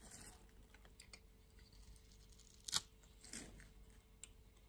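A solid green-and-white striped soap bar held in the hand is scraped with a utility knife blade, shaving off soap flakes. Quiet, bright, crisp scraping and small ticks run throughout, with one sharp, louder scrape near the middle and a softer, longer scrape just after.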